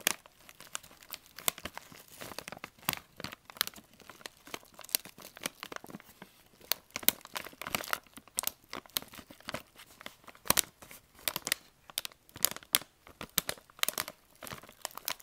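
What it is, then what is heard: Plastic candy bag. Fingertips squeeze and crinkle a medium flexible plastic candy pouch of vitamin C drops, green with a citrus print and partly filled, held up in both hands in front of gift-wrapped boxes. The result is a dense stream of quick, bright, crackling plastic crinkles and sharp snaps with almost no low end. Each rustle stops instantly, with no ring.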